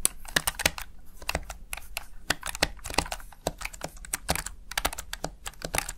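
Fingertips rapidly press and tap the backlit keys of a plastic Razer Tartarus Chroma gaming keypad, seen close from the side. It makes a quick, uneven stream of sharp, bright plastic clicks and clacks with a soft low thud under each press. Every key strike cuts off almost at once.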